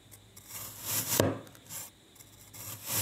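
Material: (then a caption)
Kinetic sand. A thin metal knife blade slices down through the edge of a flat round disc of packed pink kinetic sand lying on a white glossy surface. Soft, gritty rasping and scraping swell and fade as the blade cuts through. A brief sharper tap sounds near the middle.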